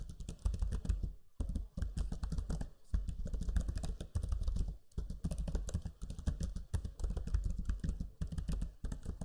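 Fingertips type on a backlit black Lenovo Legion 5 laptop keyboard with low-profile plastic keys. A steady run of soft, dull clicks and taps, heavy in low thuds with some bright key clatter, comes in bursts separated by short pauses.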